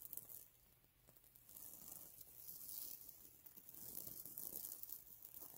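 Fingertips brush and scratch back and forth across a soft cushion covered in reversible gold, silver and green sequins, with a small microphone sitting untouched beside it. The sound is a quiet, bright, hissy scratching with crinkly, tearing-like textures that rise and fall in irregular waves, and very little low end.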